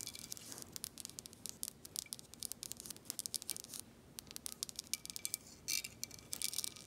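Long acrylic nails tap and scratch the embossed horseshoe emblem and the glass of a clear, thick-glass Herradura Ultra tequila bottle held in the hand. Rapid, bright clicks and dry scratching scrapes come in quick bursts, each tick dying almost instantly with no ringing tone.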